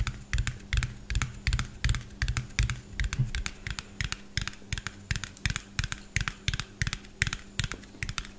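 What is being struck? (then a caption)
Small plastic bottle with a plastic cap. A small, hollow white plastic bottle with a yellow cap is tapped quickly with fingernails close to the mic. Rapid, irregular bursts of sharp, bright clicks land over a low hollow thump and a faint steady hum. Each tap is short and dry with almost no ring.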